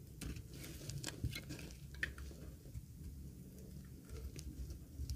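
A thin, solid, dry green laundry soap bar held in the palm is scraped with a metal box-cutter blade. Quiet, dry scraping crackles and short, bright ticks sit over a soft low rumble, with a few sharper clicks standing out.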